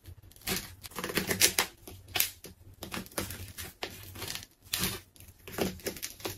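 A large, solid pink ball of layered plastic tape rests on a tiled floor while its layers are cut with a metal craft knife and pulled apart by fingers. Bright, crisp crinkling and tearing come in uneven bursts with short pauses, mostly high in tone with a thin low rumble beneath.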